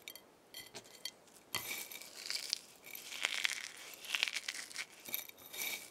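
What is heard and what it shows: Dry eggshell fragments are picked up from a pile on a white plate, crushed in a fist, then sprinkled back onto the pile. The result is a quiet, brittle crunch of irregular, bright crackles and clinks centered around 2.4 kHz, dry with almost no ring and no low end.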